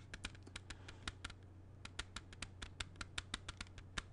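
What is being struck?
Plastic CD jewel case.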